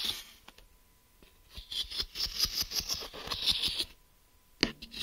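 Fingernails tap and scratch the surface and ridged edge of a medium, hollow, smoky-grey translucent plastic geometry-set case held upright in one hand. Sparse light clicks give way to a dense run of crisp, bright tapping and scratching with very little low end. After a short quiet pause, a sharp tap and a few softer scratches follow.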